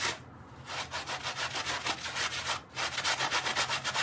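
A gloved hand scrubs a small, dark, soapy wet fabric mat on tile with a handheld bristle brush, making rapid, rhythmic, bright rasping strokes. The strokes pause briefly twice, then resume and grow slightly louder toward the end.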